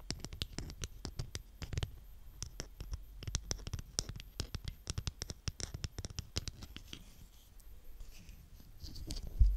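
Hands with long nails push and drag a green plastic scraper through a mound of brown kinetic sand. A rapid series of crisp, dry crunching and scratching clicks is heard, briefly quieter near the end before a louder bright rustle finishes the clip.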